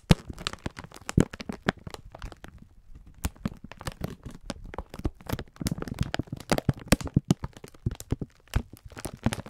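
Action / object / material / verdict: scrape / plastic film pack of sponge scourers / plastic film / none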